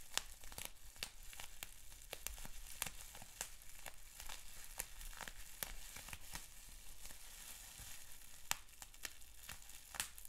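Fingertips squeeze, pop and crinkle a sheet of clear plastic bubble wrap with small bubbles. Sharp, bright pops burst out irregularly over a steady, quiet crackling crinkle, each snap dying away instantly.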